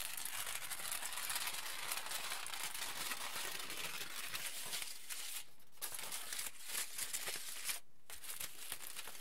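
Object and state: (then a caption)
Aluminium foil sheet being crinkled. A wrinkled aluminium foil sheet is pressed by fingers, then lifted and crinkled with both hands. The result is a dense, steady, bright crinkling and crackling, with brief quieter gaps near the end.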